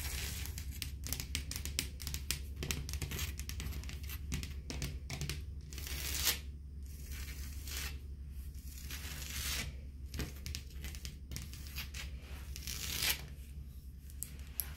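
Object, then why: Textured painted drywall. Long blue acrylic nails tap and scratch a beige, textured, painted drywall wall in a hotel room, a solid flat surface. Dense, crackly scratching and short dry taps come in quick clusters with brighter scraping bursts, over a steady low hum, before the hand starts to move away.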